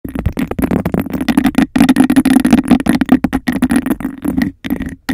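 Long decorated acrylic nails rapidly tap and scratch over a clear, empty, hollow glass cup with a raised bubble texture, held upside down over the microphone. The sound is a dense run of quick clicks and rough scrapes over a hollow, boomy resonance centered near 258 Hz, with each tap dying away almost instantly. Only a few brief pauses break up the steady clatter.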